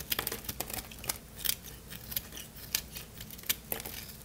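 A solid, dry red soap bar held in the hand is carved with a craft-knife blade, and crunchy flakes break off. The sound is a quick series of sharp, bright crunching snaps and scraping clicks, each dying away almost at once, with faint low background hum between them.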